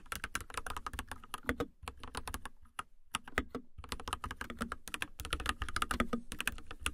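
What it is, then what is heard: Plastic mechanical keyboard being typed on. Long nails type on a mechanical keyboard with a white plastic case and white and teal plastic keycaps, RGB lit. Quick, sharp plastic key taps come in dense bursts over a low thock, with brief pauses between runs.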